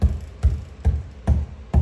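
Five knocks along the center interior wall give short, dull, low thuds with almost no ring. The wall sounds hollow, and the hollow section continues for a stretch.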